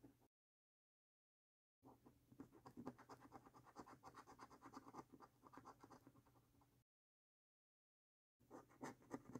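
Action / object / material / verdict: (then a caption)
scrape / paper scratch card with latex coating, scratched with a coin / paper / none. A coin scratches the latex coating off a thin, flat paper lottery scratch card in quick, uneven rasping strokes. The scratching comes in three bursts separated by silent gaps: a brief one at the start, a long run in the middle, and a short one at the end. The sound is quiet and dry, with a scraping texture.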